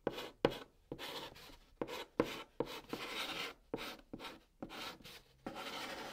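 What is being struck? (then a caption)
Chalk stick on a cardboard box top. A white chalk stick held in the fingertips writes Korean letters across the top of a large, flat, hollow brown cardboard box, scratching its surface. Short, irregular bursts of dry, gritty scraping start with sharp taps and are broken by brief silences, with a hollow mid-range tone around 480 Hz.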